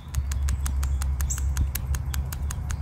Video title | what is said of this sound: بلف تبخير الزيت.. 7 علامات تدل على تلفه | Jos kuulet äänen tai tunnet jousen liikkuvan sisällä, se osoittaa, että venttiili toimii oikein eikä sitä tarvitse vaihtaa.